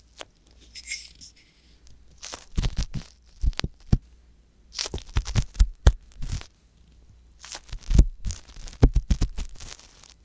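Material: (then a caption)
Silicone. A wooden ear pick scratches inside the canal of a soft silicone ear on a white box binaural microphone, giving close, crackly scraping and tearing sounds in three bursts. The scrapes are heavy in deep low rumble with faint bright crackle on top, and each stroke stops short with no ring.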